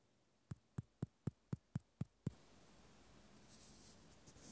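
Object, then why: Plastic clothespin with metal spring. A small white plastic clothespin with a metal spring is handled with fingertips and nails, giving eight quick, evenly spaced dull low taps with almost no ring. After the taps comes a soft, steady scratching hiss, with faint bright rustles near the end.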